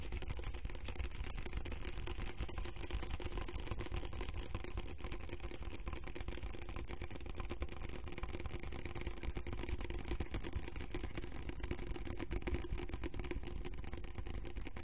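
A large, clear plastic pump lotion bottle with a lavender label, hollow and partly full of liquid, is held close to a fuzzy microphone and tapped quickly with the fingertips and short nails. The result is a dense, steady stream of short, dry, muffled taps with a deep, boomy low end.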